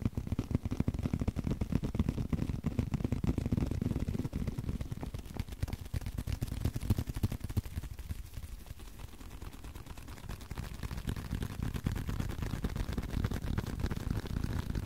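A small, flat blue leather card holder is held in the hands and tapped and scratched with the fingertips. The result is a dense, fast stream of soft, dull taps and rustling scrapes, mostly low and muffled. The sound quiets slightly around the middle before picking up again.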